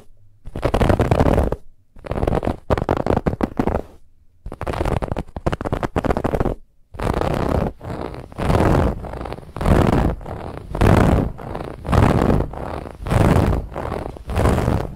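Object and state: Fabric pillow being scratched.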